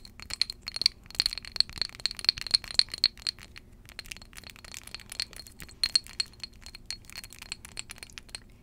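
Long jeweled acrylic nails tap a small glass perfume bottle filled with amber liquid, held in both hands. Around thirty bright, high clinks follow one another in an uneven, quick rhythm, each one short and dying away almost instantly.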